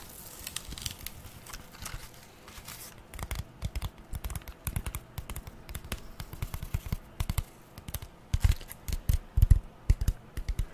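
A long, flat strip of brown corrugated cardboard, later folded, is tapped and scratched with long nails. A soft, papery scratching opens the clip, then gives way to rapid, dull taps with crackly edges that grow louder toward the end. The sound stays mostly low and muffled.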